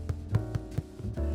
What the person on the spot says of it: so it has a nice Hollow drum sound to it tells me that it was baked correctly